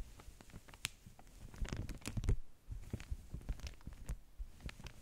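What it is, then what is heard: Stack of beeswax food wraps. Fingertips and long nails rub, tap and scratch the top sheet of a flat stack of beeswax-coated cotton food wraps. Quiet, dry crinkling and scratching mix with short, sharp taps, each dying away at once over a soft, low thumping body. The scrapes and taps come in irregular bursts, loudest in the middle.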